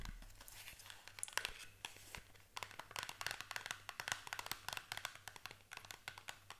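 A small green and white printed cardboard box for solid shower soap, held in the hand, is tapped and scratched with long acrylic nails. Quick, dry, bright clicks and scratchy rustles follow one another in an uneven stream. A faint low hum runs underneath.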